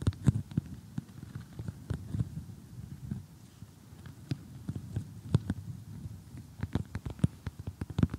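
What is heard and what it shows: Fingernails tap and scratch across the piece edges of an assembled, glossy cardboard jigsaw puzzle lying flat. Soft, dull taps sit mostly in the low range, with quick, dry clicks that flick up bright and die instantly. The irregular tapping runs throughout, thinning briefly in the middle before growing busier again toward the end.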